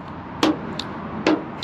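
A magnet taps the steel front fender of a 1984 Chevrolet Scottsdale C20 pickup four times, with two louder knocks and two lighter ones. Each tap gives a short, clear metallic clack with a bright edge that dies away quickly. The fender sounds solid and clear, meaning sound metal without filler.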